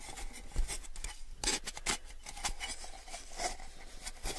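A small, hollow, empty clear plastic tumbler is held up close and tapped and rubbed with fingertips and nails. Light, crisp taps with bright, hissy scratching fill the clip, with brief low thumps under the louder taps.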